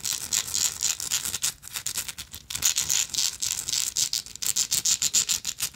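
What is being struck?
Small textured metal lighter.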